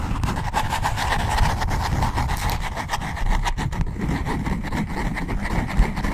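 Long blue-tinted nails scratch the cover and pink page edges of a black notebook held flat. The result is a steady, dense rasping scrape with a heavy low rumble underneath and a faint papery midrange texture, with quick flicks of brighter friction as the nails change strokes.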